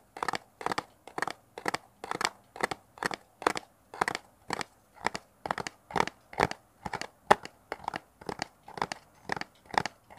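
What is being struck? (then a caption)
Small cardboard box. A small, hollow brown kraft cardboard box is held upright near a mini mic and scratched with fingernails. A steady, even rhythm of short, crunchy scratching strokes, each with a bright, papery rasp centered in the mids, stops dead with no ring between strokes.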